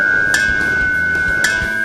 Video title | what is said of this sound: Catalisador automotivo cap 2 | um catalisador oco, sem núcleo cerâmico, e o som que ele faz. É o som de sino reverberando